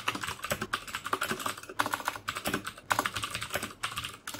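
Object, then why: Plastic mechanical keyboard. Fingertips type steadily on the keycaps of a black plastic mechanical keyboard with clicky Cherry MX Blue switches. A rapid stream of sharp, bright clicks sounds with a crisp tone around 1.5 kHz, each dying away almost instantly, with brief pauses between bursts.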